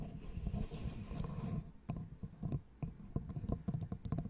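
A small, light, solid wooden L-shaped angle piece is held close to the mic and worked with long nails. First comes about a second and a half of dense, soft scratching, then a run of separate dull, muted taps that are mostly low in tone and die away almost at once.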